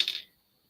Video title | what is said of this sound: Vintage Buttons That Are Worth $$ LET'S TALK ABOUT IT! | they make a different sound when you tap them